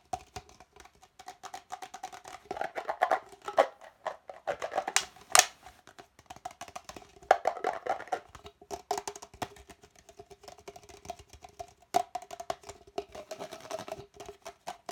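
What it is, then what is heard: Empty plastic party cup. An empty, hollow red plastic party cup, held in both hands, is tapped and scratched quickly and aggressively with fingertips and short nails. The result is dense, dry clicks and scratchy rustles with a hollow, boxy tone around 740 Hz and a lower hum near 400 Hz. Each tap dies out almost instantly, with a few louder accents scattered throughout.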